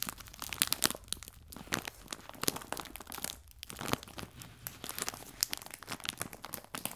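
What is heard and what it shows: A clear plastic bag full of biscuits, resting on a table, is crinkled and scratched with fingers and nails. Irregular bursts of sharp, bright crackling and rustling come and go with brief quieter gaps. The sound is dry and high, with little low end.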